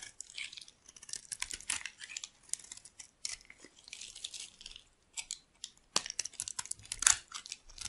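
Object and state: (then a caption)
Bar soap being shaved with a knife. A solid, cream-colored, rectangular dry soap bar held in the palm is shaved and carved with a metal knife blade into curling flakes. The result is a quiet run of crisp, bright scraping and crackling bursts with almost no low end, each stroke cutting off quickly between short pauses.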